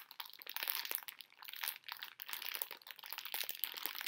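A full plastic bag of small conversation heart candies is held and crinkled with the fingers and nails while the candies shift inside. Bright, dense crinkling and crunching comes in quick bursts with brief pauses, with almost no low end.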